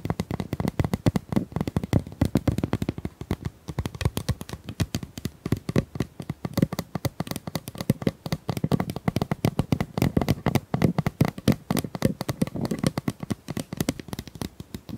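Long acrylic nails tap and scratch rapidly along the ridges of a hollow pink corrugated plastic pop tube, about 25 cm long, held horizontally in both hands. The result is a dense, continuous stream of short, dry clicks and rasping scrapes. They are mostly low and hollow-toned around 210 Hz and die away almost instantly.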